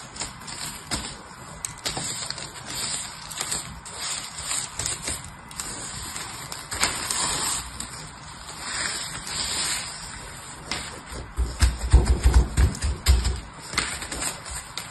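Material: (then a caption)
Soap. Flat hands and fingertips rub and press a pile of crumbly purple grated soap shavings across a surface, making a steady, soft crinkling and gritty rustle. Near the end, a few louder, deeper rubs add low thumping pressure sounds under the bright crackle.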